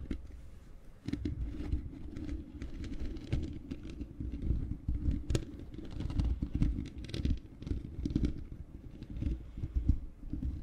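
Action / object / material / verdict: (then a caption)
scrape / metal mesh microphone grille scratched with fingernails / metal mesh / none. Long painted fingernails of both hands scratch the bare black metal mesh grille of a large hollow microphone. The sound is a dense, low, rumbling patter of scraping, with many quick scratches blending together. A bright crackle sits over a heavy low-end boom.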